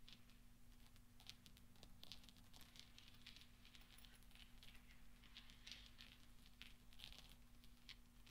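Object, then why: Small steel balls. Fingertips and nails clink and stir a pile of small solid steel pachinko balls resting on black velvet. The result is a quiet, continuous patter of soft, bright metallic ticks and clinks centered around 3.3 kHz, each dying away almost instantly, over a steady low hum.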